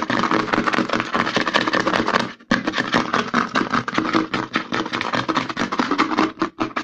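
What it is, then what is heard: Plastic lotion pump bottle. Fingertips and nails rapidly scratch and tap the front label of a white plastic CeraVe lotion bottle with a green pump, held upside down. The result is a dense, fast stream of dry, crackly scratches and short taps, broken by a brief silence about two and a half seconds in before the scratching resumes.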